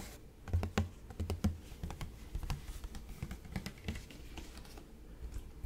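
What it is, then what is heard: Plastic fabric softener bottle. Fingertips tap on a large, hollow, light-blue plastic fabric softener bottle with a purple cap, apparently partly full, held in both hands close to the microphone. The irregular taps produce soft, dull, low thumps with a hollow body and a quick decay, over a faint background hiss.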